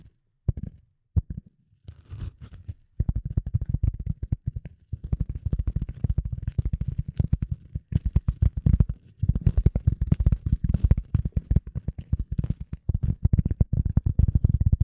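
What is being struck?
Piece of polyethylene foam.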